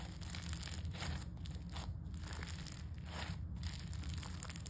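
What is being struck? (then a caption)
Foam-bead slime. Pale-yellow crunchy foam-bead slime, a soft, solid mass, is poked with fingertips, flattened under a palm, then pulled into a long stringy stretch. Dense, continuous bright crunching and tearing crackles come in repeated bursts over a steady low rumble.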